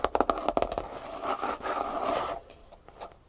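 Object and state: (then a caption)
Hardcover notebook tapped and scratched. Fingertips and short nails tap about nine times in quick succession on a medium-sized, closed hardcover notebook with a floral paper cover and a thick, solid paper block, lying flat on a wooden table. They then scratch across the cover in a steady, papery scrape with a midrange tone. The scratching trails off into a few softer, lighter scratches.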